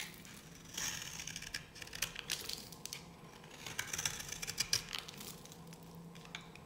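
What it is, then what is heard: Dry bar soap being scraped. A metal blade scrapes curled flakes from one edge of a solid, dry yellow bar of soap held in the hand. The cutting gives dry, crackling, crumbly scratches in quick irregular bursts, bright and high with almost no low end.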